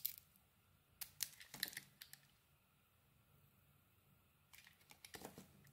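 A small metal blade carves and scrapes curls off the embossed outer layer of a solid beige Lux-branded bar soap held in hand. Short bursts of crisp, bright scraping and crackling come in two clusters, with quiet pauses before, between and after them. Each cut is dry and brief, with almost no ring.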